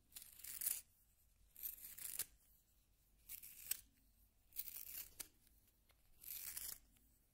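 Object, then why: Wooden pencil in a plastic hand sharpener. A solid yellow wooden pencil is turned in a small pink plastic hand sharpener, its blade shaving the wood. Five short bursts of bright, dry, rasping scraping are heard, each separated by a brief quiet pause.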